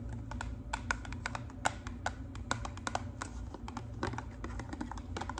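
Long pink acrylic nails tap rapidly on the face of a narrow, hollow pink and white cardboard hair color box held upright. The quick, light, dry clicks have a hollow papery knock and die away almost instantly over a steady low background hum.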